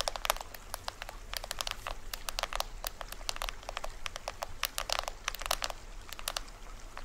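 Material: Plastic film.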